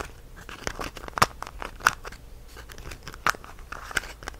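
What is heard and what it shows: A small, partly full clear plastic jar of whole cloves with a red plastic cap is held in both hands while fingertips and nails scratch and tap the jar and twist the lid. Soft, dense scratching and crinkly ticking run throughout, broken by four louder, sharp plastic clicks that die away almost instantly.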